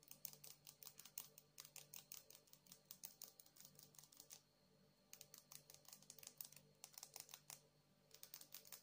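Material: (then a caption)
Agate. Long acrylic nails rapidly tap and scratch a palm-sized, solid, polished blue agate stone held in one hand. The result is quick, crisp, bright clicks with almost no ring, heard in bursts with brief pauses around the middle and near the end, over a faint low hum.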